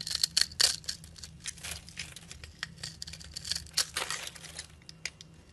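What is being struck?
Bar of soap scraped with a metal blade.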